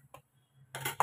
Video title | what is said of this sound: Left Over Chapati ka Bhajiya #1000subscriber #youtube #recipe #vlogger #foodie #comment #viralvideo | you hear this sound? See how crispy they are.